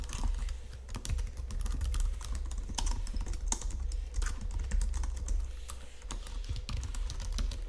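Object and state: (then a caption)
Plastic computer keyboard being typed on. Fingertips and nails tap and press the keys of a white plastic Logitech keyboard resting on marble, producing a steady run of quick, bright clicks. The clicks ride over a constant low hum that dominates the clip.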